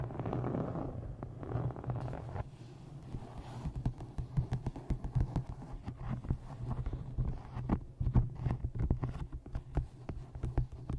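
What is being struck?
Embossed faux-leather hardcover book.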